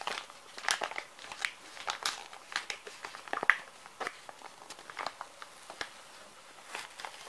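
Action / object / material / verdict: scrape / plastic-film wet wipes pouch / plastic film / none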